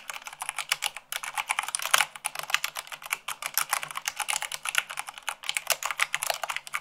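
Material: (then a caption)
Plastic. A full-size mechanical keyboard with white plastic keycaps on a black base is typed on fast by fingertips with long acrylic nails, at 98 words per minute. The result is a dense, steady stream of sharp, bright plastic clicks and taps with only brief pauses, each keystroke short and crisp with no low rumble.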